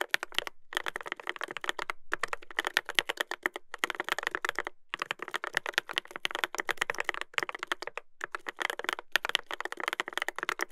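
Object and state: Mechanical keyboard with plastic keycaps.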